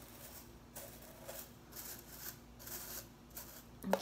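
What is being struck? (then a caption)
Plastic broom bristles. Fingers strum and flick the ends of the blue plastic bristles on a broom head held up. The result is quiet, bright, crisp rustling bursts over a faint steady low hum, ending with a sharper, louder flick.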